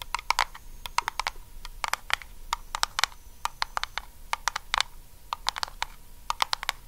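Long acrylic nails on both hands tap rapidly on the lid of a small round blue Nivea metal cream tin. The result is a flurry of sharp, bright clicks with a faint metallic ping near 1.1 kHz, each dying away almost instantly over a quiet background.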